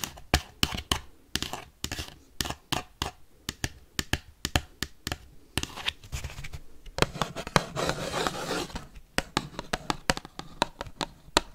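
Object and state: Paper plate.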